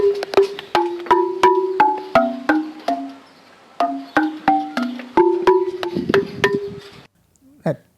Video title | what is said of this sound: The Praveen Mohan Interview - Matt Beall Podcast | that's the actual sound your fingertips tapping on granite sound like that